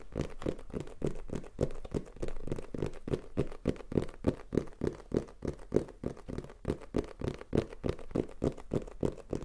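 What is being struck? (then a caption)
Cardboard box. A black printed Tascam cardboard box, held in the hand, is tapped rapidly with fingertips and nails. The result is a quick, uneven stream of short, dull, hollow taps, centered in the low-mids around 400 Hz, with little ring.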